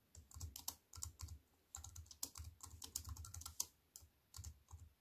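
Fingertips with long white-painted nails type on a slim wireless keyboard with a silver aluminium frame and black plastic chiclet keys, resting on a wooden table. Quick, bright key clicks come in bursts with brief pauses between them, each with a soft low thud underneath and a very short decay.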